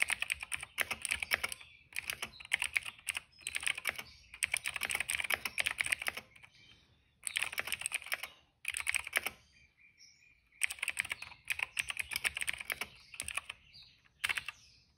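Fingertips type continuously on the keycaps of a cream plastic retro mechanical keyboard. Quick bursts of bright, crisp clicks and clacks come with short pauses between runs. Each keystroke is sharp and dry, with almost no low end and no ring.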